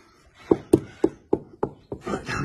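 The underside of the steel chassis of a 1972 Morgan 4/4 1600 Crossflow is tapped all the way around the area to show it is solid. A run of short, sharp, dull knocks sits in the low-mid range and dies away almost instantly. The chassis sounds solid, with no rot.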